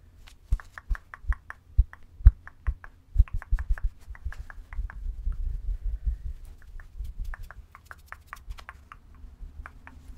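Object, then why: Plush stuffed bear with synthetic fur. Long nails scratch and rub the fur of a medium, soft, pink furry stuffed teddy bear. Rapid bursts of short, crisp, bright scratchy ticks sit over a low, muffled rubbing rumble, with a denser stretch of continuous rubbing through the middle.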